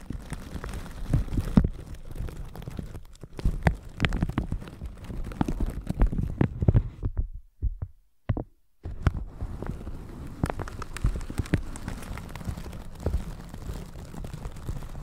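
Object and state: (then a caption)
Plastic shower cap being brushed. A flat red-bristle brush sweeps over a plastic shower cap stretched over a microphone, making dense, crinkly scratching and rustling with heavy low thumps. The brushing pauses briefly for a near-silent gap with a few soft taps around the middle, then resumes at a steady level.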